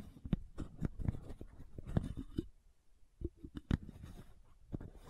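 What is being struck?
Plastic supplement bottle with cap.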